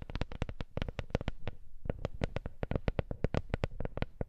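A wooden coaster is tapped in a quick, uneven run of about 28 short, dry knocks, with a brief pause partway through. Each tap is low and soft and dies away almost at once.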